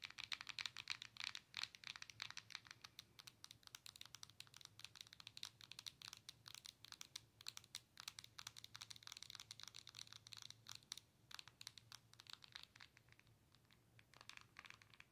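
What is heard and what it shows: Long nails tap and scratch the glass touchscreen of a Nintendo Switch handheld game console with a plastic body. A quiet, steady stream of rapid, sharp, bright clicks and light scratches continues for about fifteen seconds, with a faint low hum underneath.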